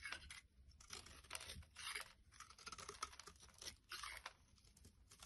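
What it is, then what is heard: Bar soap being carved. A utility blade shaves flakes off a solid oval light blue bar of soap with a ribbed edge, held in a hand. Quiet, dry, crisp scraping and crunching strokes come in bursts, mostly bright and high-pitched with little low end.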